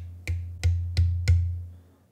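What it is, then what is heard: Drum shell with lugs fitted, lower pitch. A drum shell with heavy cast metal lugs bolted on is tapped four times, giving short, low, woody thumps with a deep tone around 86 Hz. The pitch is lower than the bare shell's because the added mass of the lugs restricts the shell's vibration.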